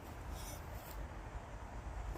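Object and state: Nothing is struck.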